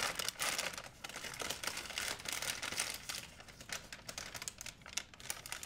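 An empty white plastic shopping bag is grabbed and crumpled by hands, giving a steady, bright crinkling made of dense, sharp crackles. The rustle swells and eases in waves over a few seconds, with almost no low end.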